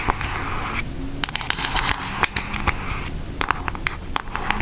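Long acrylic nails tap rapidly on a pink Aristocats cardboard eyeshadow palette. The taps come as quick, sharp, dry clicks with no ring, set over a steady low background hiss.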